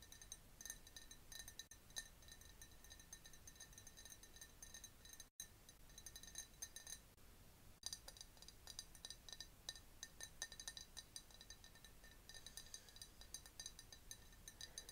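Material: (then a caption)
Glass. Long nails tap rapidly on a clear glass jar partly filled with liquid, with a bamboo straw standing inside. The result is a steady stream of quiet, bright clinks with a faint ringing tone near 1.8 kHz and a few louder taps. The sound cuts out briefly around the five-second mark.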